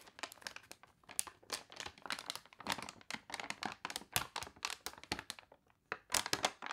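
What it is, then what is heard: Glossy paper catalog pages. Long nails rub the wrinkled, glossy pages of a paper toy catalog, and a page is turned. A quiet, dry run of crisp crinkling and crunching bursts comes in quick clusters with brief pauses, mostly bright with almost no low end.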